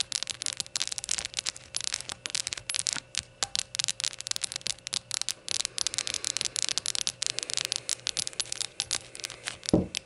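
Rainbow-colored shot glasses are tapped and fidgeted with, producing a dense run of quick, bright, coin-like clinks with short ringing tails. The taps come in rapid clusters throughout, with no speech, and a louder, fuller knock lands near the end.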